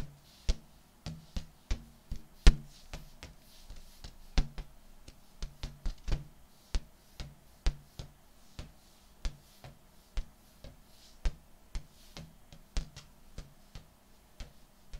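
A large, hollow, air-filled purple metallic latex balloon, held upright at face height, is tapped and knocked with fingertips and palms. About 29 soft, deep thumps come at an irregular pace, each with a very short ring and only a faint bright click on top.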